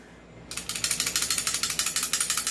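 A new, unmodified stock Hi-Capa airsoft pistol is shaken, and its loose metal outer barrel rattles forward and back against the frame. After a quiet start, a run of 14 sharp, bright metallic clicks follows in a steady rhythm, each dying away almost at once. The loose barrel is a fault that an upgraded unit with a fixed outer barrel does not have.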